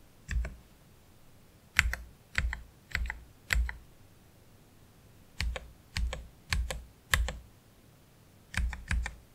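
One hand slowly presses keys with its fingertips on a black Keychron K3 Pro low-profile mechanical keyboard with plastic keycaps and Gateron Red low-profile switches. Short, dry keystrokes come in small spaced groups, each a quick double click with a soft low thud under a bright clack, separated by near-silent pauses.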